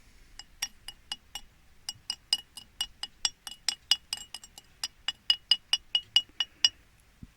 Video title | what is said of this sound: Kaboes S1 Eps 33 Namibia - Zebra River Lodge | it's so full of metal that when you hit it with something metal like a metal spoon, you can hear the metal sound